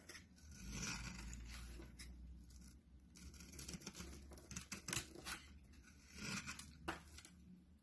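A solid orange bar of soap is held in both hands while a metal blade scrapes and cuts crumbly chunks off it over a dark surface. Soft, gritty scraping swells and fades in long strokes, broken by crisp, bright cutting crackles, over a steady low hum.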